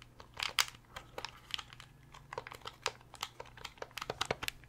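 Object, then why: Hard plastic game controller. A fingernail taps and scratches on the hard, hollow plastic shell of a translucent purple Nintendo 64 controller. About eighteen short, dry, bright clicks and crinkly scrapes come in an irregular run, each dying away almost instantly, over a faint low hum.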